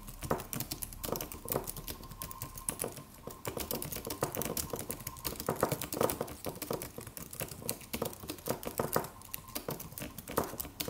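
Fingertips of both hands type on a slim silver aluminum computer keyboard with white plastic keys and a solid low-profile body. A steady stream of short, dry, bright key clicks comes in quick, uneven bursts, each tap dying away almost at once, with a faint steady tone in the background.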